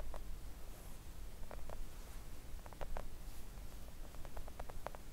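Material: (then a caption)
Silicone. Long acrylic nails tap gently on a flat pink silicone nail art mat lying on a table. Soft, quick, muted clicks come in small clusters over a steady low rumble, each tap dying away almost at once.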